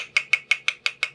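A spoon taps seven times on the metal canning lid of a jar of blueberry jam made earlier in the week. Each tap is a tight, high-pitched click centered around 2.2 kHz with almost no ring. The tight sound shows that a vacuum seal has formed.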